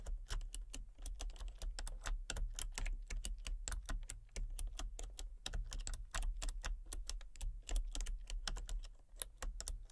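Fingertips with long painted nails type rapidly on a full-size backlit plastic RGB computer keyboard with hollow key switches and colour-cycling lights. A dense stream of short, sharp, bright key clicks runs throughout over a steady low hum.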